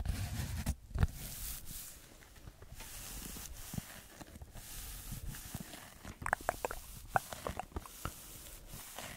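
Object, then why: Textured foam sheet. Fingertips and nails scratch and tap a rectangular red textured foam block held in front of a microphone. Soft, low rustling scratches fill the first half. Sharper, brighter tapping clicks cluster toward the end, all at a quiet level.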